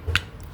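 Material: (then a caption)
Steel. A steel connecting rod on a Yamaha Nmax motorcycle crankshaft is knocked once, giving a short, sharp metallic tap with a low thud and a bright ring that dies away almost at once. The knock reveals a loose connecting-rod bearing, even though pulling on the rod shows no play.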